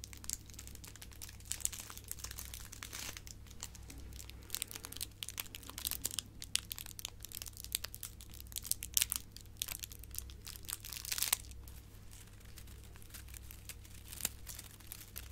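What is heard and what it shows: A silver metallic foil gift bow is crushed and crinkled with fingers and nails, giving a quiet, continuous stream of bright, crisp crackles and sharp snaps. A steady low hum runs underneath throughout.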